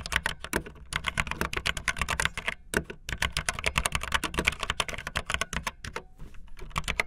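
Fingertips with long nails type fast on a backlit optical linear mechanical keyboard with white and blue plastic keycaps. The result is a dense, rapid run of short, bright plastic clacks with a light low thump beneath them. The typing breaks briefly around 0.8, 2.8 and 6 seconds.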